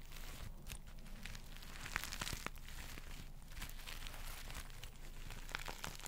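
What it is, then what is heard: Sequin fabric pillow. Fingertips and nails brush and scratch across a soft pillow covered in pink and silver reversible sequins, sometimes right over the mic. The result is a steady stream of dry, crinkly rustling with bright little ticks and scrapes over a heavy low handling rumble, with a few sharper clicks standing out.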